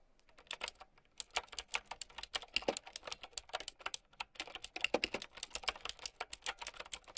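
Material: Plastic.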